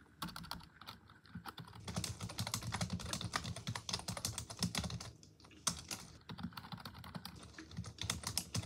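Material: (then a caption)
Plastic. A full-size black plastic computer keyboard on a wooden desk is typed on continuously with long acrylic nails and fingertips. Its hollow plastic keys clatter in rapid streams of short, bright clicks over a low thud, with brief lulls near 1, 5 and 6 seconds.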